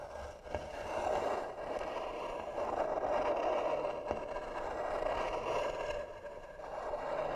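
Long nails slowly scratch the lid of a hollow, tan carved wooden box. A steady, dry rasp centered in the midrange swells and fades in long strokes, with a couple of brief sharp clicks standing out.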